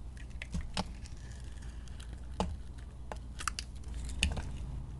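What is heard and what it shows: A metal blade carves chunks from a solid white soap bar with green glitter, making soft, dry crackling scrapes and crisp little snaps over a low, steady rumble. Brief bright clicks and crumbly cuts come at an uneven pace.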